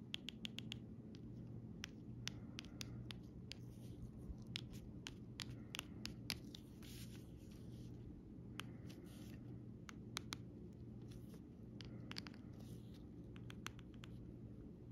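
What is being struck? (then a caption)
Plastic 3D sticker sheet. A metal pen tip traces and scratches along the outlines of a flat sheet of raised, glossy plastic flower stickers on a clear plastic backing lying on fabric. Quiet scratching runs through the clip, broken by many sharp, bright clicks and ticks as the tip catches the sticker edges, over a steady low hum.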